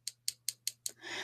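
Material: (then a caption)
Acrylic. An acrylic bead is tapped five times, giving short, dry, high-pitched clicks with almost no ring, the very matte sound that shows it is acrylic rather than real stone or glass. A broad rising hiss follows the last tap.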